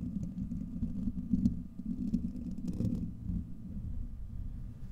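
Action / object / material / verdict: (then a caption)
scrape / steel wire-mesh microphone grille / steel mesh / none. Fingertips and short nails of both hands scratch the hollow, domed steel wire-mesh grille of a large desktop USB microphone. The result is a close, continuous, muffled low rumble of dense scratching, with faint brighter crackles near 1.5 and 2.8 seconds.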